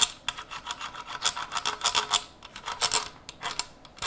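Cotton-gloved fingertips tap and scratch along the handguard and receiver of a Zastava M70 rifle, a long steel rifle with black polymer furniture, held upright in one gloved hand. A quick, irregular run of dry, bright scratchy taps follows, rasping and high-pitched with almost no low end. Each tap stops dead with no ring.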